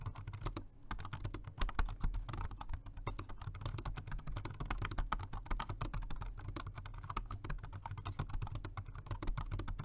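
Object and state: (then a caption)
Plastic keyboard being typed on. Fingertips of both hands type steadily on a dark grey plastic Jelly Comb multi-device, dual-mode rechargeable 2.4G wireless and Bluetooth keyboard with round keys. Rapid, crisp key taps click continuously over a steady low hum for about ten seconds.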